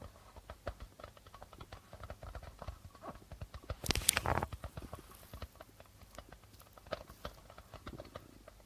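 Fingertips and nails tap and scratch the white plastic membrane of a hollow darbuka drum, making a quiet, irregular patter of soft, short clicks. Around the middle, a denser burst of brighter scratching swells up before the light tapping resumes.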